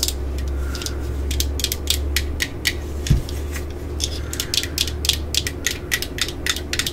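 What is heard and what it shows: Long glitter nails tap and scratch the ribbed side of a black hard plastic 18V drill battery pack held in the hands. A quick run of sharp, bright clicking taps and brief scratchy rasps rises over a steady low hum, with one louder knock around the three-second mark. Each tap is dry and stops almost at once, with no ring.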